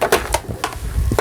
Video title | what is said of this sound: st#미싱박사#싱거미싱5400 직구수리#미싱실끼우기 #미싱사용방법 # 미싱고장택배수리#singer 5400Sewing Machine Repair#미싱#홈미싱#재봉기#윤태용#유튜브 | اگر آپ اپنے ہاتھ سے جسم کو تھپتھپاتے ہیں اور دیکھتے ہیں کہ پورا جسم پلاسٹک کا ہے